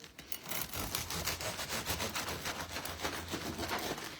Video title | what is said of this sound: Baguette à l’ail et au persil | vous avez entendu comme ça croustille là